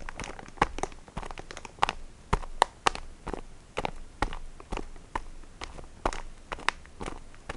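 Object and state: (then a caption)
Plastic-wrapped sponge pack. Fingertips and nails grip and scratch the wrapper of a printed plastic package filled with sponges, crinkling it. Repeated sharp, dry crinkles and scratches sound over a soft, continuous rustle, with a brief bright crack on each grip. The bursts come at an uneven pace throughout the clip.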